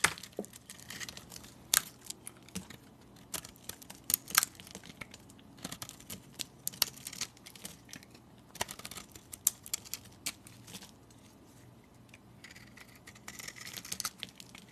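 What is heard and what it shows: A solid, hand-sized orange soap bar, held in fingers with long painted nails, is shaved and scraped with a metal utility knife blade, and curls of soap fall away. The sound is a quiet, bright, dry crackle of scraping and crinkling, punctuated by sharp clicks and snaps. There is a calmer stretch of soft scraping near the end.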